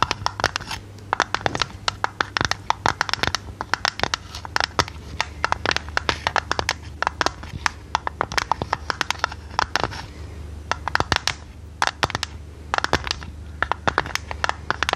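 Long red nails tap and scratch a hollow, printed purple tinplate tea canister with its lid on. Rapid, uneven bursts of sharp, bright clicks with very short ring are heard, with a main tone near 1.3 kHz, over a steady low hum.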